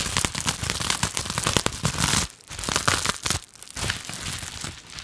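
A clear plastic bubble wrap pouch, held in both hands, is scratched and squeezed with long nails. It produces a dense run of bright, crinkly scratches and crackles, with brief quieter pauses partway through before the scratching resumes.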